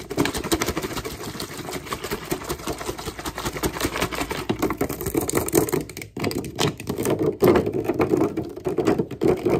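A clear plastic water bottle with a blue label, hollow and partly filled with water, is held in the hands and tapped and squeezed with fingertips and nails. The result is a rapid, dense stream of short crinkly clicks and taps with a hollow midrange tone, pausing briefly around six seconds before resuming.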